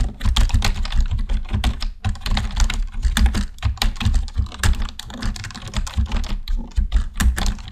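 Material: Plastic.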